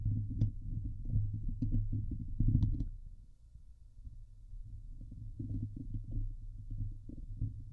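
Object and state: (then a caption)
Metal mesh microphone grille being scratched. Fingernails slowly scratch over the top and sides of a Blue Yeti microphone head's hollow steel wire-mesh grille. The result is a deep, boomy, rumbling scrape with a few bright crackly ticks early on. It dips quieter in the middle, then the low scratching builds back up.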